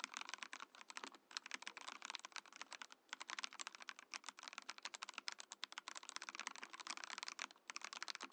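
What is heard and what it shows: A compact Mojo68 mechanical keyboard in a transparent acrylic case with cream and orange plastic keycaps is typed on continuously with the fingertips of both hands. It gives a rapid, steady stream of short, bright clacks with no low-end thump. Each keystroke dies away almost instantly, with only a few brief pauses between bursts.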